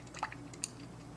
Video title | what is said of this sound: I Test The Internet's MOST Hated Minis | Can you hear that? So, there's definitely liquid inside.